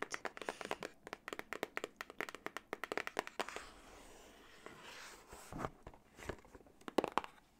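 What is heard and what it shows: A small printed cardboard retail box for a plug-in diffuser, apparently with the product inside, is held in one hand close to the microphone and tapped and scratched with long acrylic nails. About thirty quick, dry, crisp taps come in a rapid run for the first three and a half seconds, then give way to a soft, steady scratching hiss across the cardboard. A few scattered sharper taps close the clip.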